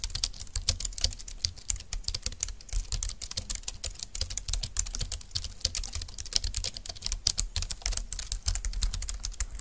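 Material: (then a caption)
Plastic. Fast typing with the fingertips of both hands on a compact dark green plastic low-profile keyboard with flat keys and a hollow plastic body. A dense stream of short, bright plastic key clicks with very little ring, over a steady low rumble.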